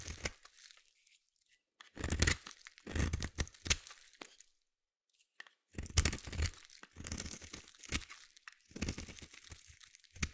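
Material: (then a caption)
Soap. A metal blade scrapes a solid purple bar of soap, shaving off crunchy curls. Bursts of dry, crackling, tearing scrapes with a bright, gritty texture and a soft low body are separated by short pauses.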